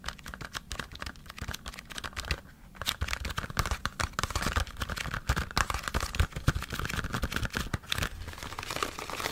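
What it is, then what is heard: Cardboard stock cube box. Fingertips and nails rapidly tap and scratch the sides of a small green cardboard stock cube box held upright. Dense, dry crinkling clicks and scrapes run throughout, with a brief quieter pause near the start before the tapping picks up again.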